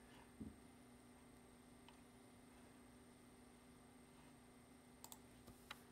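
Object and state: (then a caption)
Plastic computer keyboard. Fingertips press the keys of a black plastic computer keyboard in a few sparse typing taps. One tap comes early, and a small cluster of sharp, bright clicks comes near the end, each dying away almost instantly. Between them a quiet, steady hum with faint tonal lines continues.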